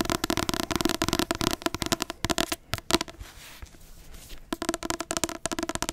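Long nails tap rapidly on the front of a large paperback book with a glossy card cover, making a quick run of short, dry clicks. Midway the tapping gives way to a softer scratching of the nails across the cover before the fast tapping returns.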